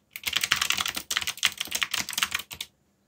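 Fingertips type on a backlit black plastic mechanical keyboard, producing rapid runs of bright, crisp clicks with almost no low end. The keystrokes come in three quick bursts separated by brief pauses, each click dying away almost instantly, before the typing stops and the clip falls silent.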